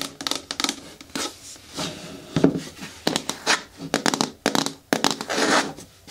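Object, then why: Hard plastic caddy bin with lid. Long nails tap and scratch on the walls of a hard, hollow green plastic caddy bin with a lid and grey handle, turned to face forward. A rapid, uneven series of short, dry clicks and taps carries a hollow mid-low tone, with bright scratchy rasps between them. Each tap dies away almost at once.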